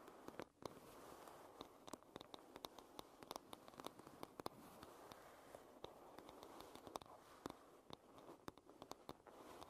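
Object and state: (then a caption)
Wooden paddle hairbrush tapped with nails. Long red nails tap and scratch the solid wooden back and side of a wooden paddle hairbrush. Dozens of quiet, sharp, dry clicks with no ring land irregularly over a soft, steady scratching hiss centered in the midrange.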